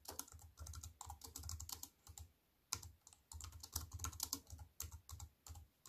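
Fingertips and long white-painted nails tap on a compact wireless keyboard with black plastic keys on a grey metal-look frame, resting flat on a wooden table. Quick runs of clicky keystrokes each combine a low thump with a bright clatter. A brief pause comes before typing resumes in steady bursts.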